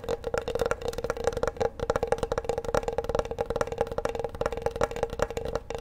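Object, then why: Bamboo wooden cutting board. Fingertips tap rapidly across the flat surface and edges of a large, solid bamboo wooden cutting board held upright. The taps are dry, hollow, wood-block-like knocks with a mid pitch around 600 Hz, each dying away almost instantly. They run as a quick, uneven patter throughout.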